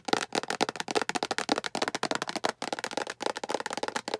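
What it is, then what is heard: Plastic food container. Long acrylic nails tap rapidly on a hollow, empty-looking translucent green plastic food storage container with a diamond pattern. The result is a quick, continuous run of short, dry clicks with almost no ring, a hollow tone around 440 Hz and a bright edge, with a few brief pauses.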